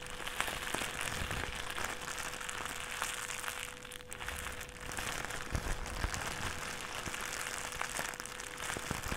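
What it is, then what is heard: Plastic bag being crumpled. A thin, empty white plastic trash bag is squeezed and crumpled into a ball in both hands. It gives a steady, dense crinkling and crackling with bright, sharp snaps scattered throughout. A faint steady tone sits underneath, and the sound dips briefly in the middle before picking back up.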